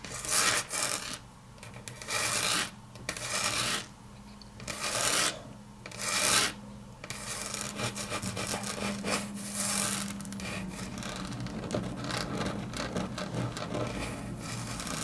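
Long natural nails scratch and rub along the grain of a solid, flat grey wood-grain laminate tabletop, with some tapping mixed in. The first half comes in separate bright, raspy strokes with short pauses between them. After that the sound settles into a steadier, continuous rubbing.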